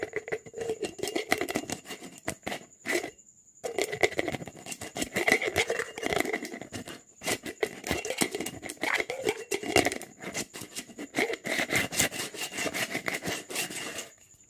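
Fingers and nails rapidly rub and scratch the surface of a hollow, apparently empty clear plastic jar with an orange lid, held in both hands. The result is a dense, crackly, bright patter of fast scratches, with brief pauses near 3.5 and 7 seconds, over a faint steady high tone.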